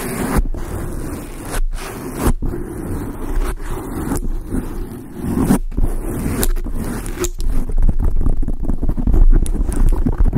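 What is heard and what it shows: Long acrylic nails on both hands scratch a large, soft, porous dark grey foam windscreen on a microphone. The result is a dense, boomy, low rumbling scrape, broken by a few brief near-silent gaps. It grows busier and louder in the last few seconds.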